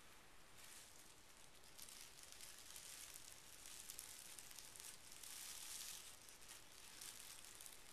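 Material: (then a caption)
Paper. Fingertips press and rub a small, thick, folded packet of pink tissue paper lying on carpet. A quiet, continuous, bright crinkling rustle swells and eases in waves, with a soft, dull low rumble underneath.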